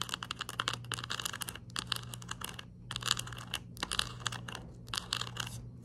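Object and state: Plastic pill bottle cap.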